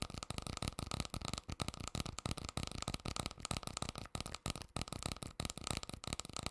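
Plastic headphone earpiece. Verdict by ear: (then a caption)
Hollow. Rapid tapping on the plastic earpiece of a gaming headset, which is mostly hollow apart from a few electronic components. The taps come as dense, quick, hollow clicks that resonate briefly inside the earpiece, making a pleasant tapping rhythm.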